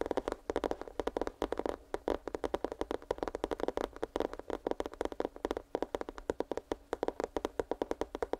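Fingernails tap rapidly and continuously on a small, hollow, printed cardboard headphones box held close to the microphone. The taps are dry, quick clicks with a hollow midrange knock and almost no ring, running as an uneven, steady patter throughout.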